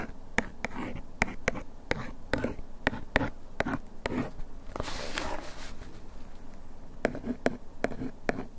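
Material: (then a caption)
Paperboard. A thin bamboo ear pick tip traces and scratches over the printed text on the front of a small, hollow paperboard box of adhesive bandages, likely full and held in hand. Quick, dry taps and clicks ring out against a soft, papery scratching, with a brief brighter hiss of scraping partway through. The taps stop short with no ring.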